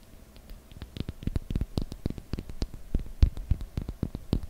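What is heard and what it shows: Long fingernails tap and scratch the faces of a small, solid cube block of light, unfinished wood held in the fingers. The result is a quick, irregular run of soft, dull clicks with brief bright ticks. Each tap dies away almost instantly, with quiet scratching between them.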